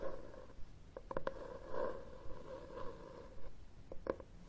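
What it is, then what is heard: Cloth-covered hardcover book. Fingernails scratch and tap the cover of a red textured cloth hardcover book held upright on a table. Soft, low, papery scratching is broken by short, dry taps, with a faint hollow tone around 500 Hz. The taps stop almost at once, with no ring.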